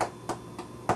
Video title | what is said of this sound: Pistachio Brittle | you can hear it sounds kind of hollow and hard